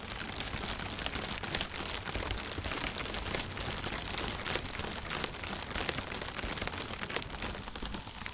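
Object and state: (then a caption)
Inflated plastic carrier bag. A thin, white, translucent plastic shopping bag, inflated and hollow, is held in both hands while fingertips and painted nails tap and rub its taut surface. A steady stream of dense, bright crinkling and rustling runs for the whole clip, broken by small sharper taps with no pauses.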